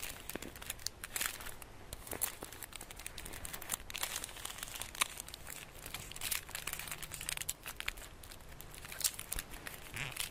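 A flat, rectangular, solid Easter chocolate bar wrapped in crinkly gold foil with an embossed design is held in both hands while painted nails and fingertips scratch, rub and crinkle the foil. The result is a continuous, quiet stream of bright, sharp crinkling and scratching with dense crackles throughout.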